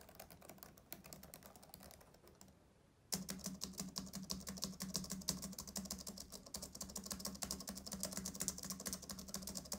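Fingertips of both hands type and tap on the plastic keyboard of a black laptop, producing fast, irregular, bright clicks over a steady low hum. The soft tapping fades to a near-silent pause around the third second, then resumes louder and denser with sharper, crisper keystrokes until the end.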